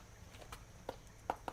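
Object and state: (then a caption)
Crisp baked lavash bowl. A whole wheat lavash, pressed into a metal nonstick tortilla bowl mold and baked in the oven the night before, is tapped four times to show how crisp and firm it has become. Each tap gives a short, dry, crispy click with almost no ring. The baked bowl is sturdy enough to hold sloppy joe filling.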